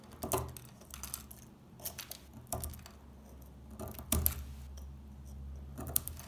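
A small metal blade scrapes along the top edge of a solid, dry brown bar of household laundry soap held in the hands, lifting brittle flakes. Short, dry, crackling scrapes come in irregular bursts with bright high edges and almost no ring. A low steady hum sits underneath.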